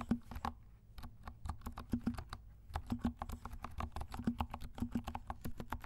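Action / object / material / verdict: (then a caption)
tap / plastic mechanical keyboard / plastic / none. Fingertips of both hands type steadily on a compact black mechanical keyboard with silent switches and black and pink plastic keycaps. The quick run of soft, muffled keystrokes is low and thuddy, with each short tap dying out at once and a faint tone around 230 Hz beneath.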